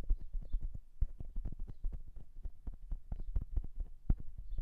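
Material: Metal.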